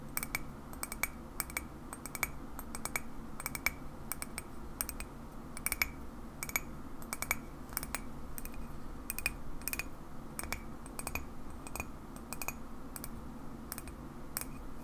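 Long natural fingernails tap the side of a hollow, apparently empty black-and-white printed ceramic coffee mug with a polar bear design, standing upright on a wooden table. A steady series of light, clicky taps each gives a brief bright ring near 2.3 kHz that dies away almost at once, over a constant low hum.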